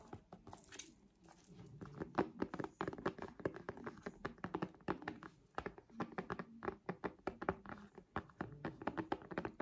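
Long nails tap rapidly on a purple folding faux-leather (synthetic) smart folio cover lying over the front of a tablet. The result is a steady stream of soft, dull thunks and ticks that stop almost instantly, with a low-mid body and little brightness.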